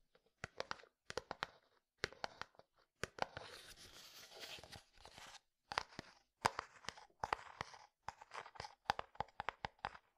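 A medium frosted plastic jar with white contents is tapped with fingertips and nails on its side and lid. Quick, bright, clicky taps come in short clusters, with a steadier scratchy stretch in the middle. Each tap dies away almost instantly, and the whole clip stays quiet.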